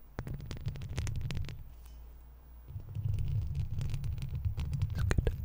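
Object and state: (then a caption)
Metal mesh microphone grille. A large silver microphone with a hollow wire-mesh metal grille is scratched and tapped by long pointed plastic fake nails with red tips on both hands. Bursts of brisk, irregular scratching and clicking rumble heavily in the low end, with sharp bright ticks on top. The scratching eases to a quieter low rumble midway before picking up again more strongly.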